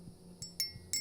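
A steel AR-15 bolt from a rifle with over 30,000 rounds is struck three times to check for micro stress fractures. Each strike gives a clear, high-pitched metallic ring that fades quickly, not a dull sound. The bolt shows no stress fractures and is judged in good shape.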